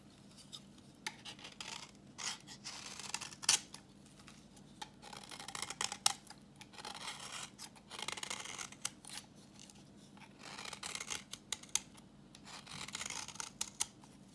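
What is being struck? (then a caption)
Bar of soap scraped with a knife blade. A solid, translucent reddish bar of dry vintage soap, held in the hand, is scraped with a utility knife blade, peeling off orange shavings. Short bursts of crisp, bright, dry scraping come in quick strokes, separated by quiet pauses, over a faint steady low hum.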